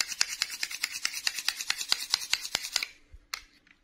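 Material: Plastic.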